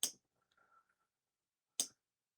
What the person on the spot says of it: I kind of just want to tap it just to hear that little metal tap.